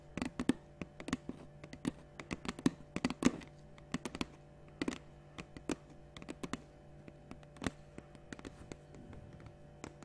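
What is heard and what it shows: Long nails tap a large, clear, capped plastic water bottle held in one hand. The result is a quick, irregular stream of short, dry clicks and light thunks, with a low steady hum underneath.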